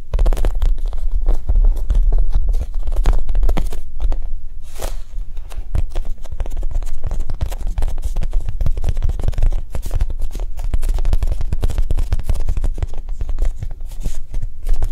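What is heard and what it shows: Long nails tap and scratch a solid, loaf-sized orange and yellow soft foam squishy shaped like a Japanese cheesecake. The result is a steady stream of fast, soft, muffled taps and brushing scratches with a dull, low thud and no ring.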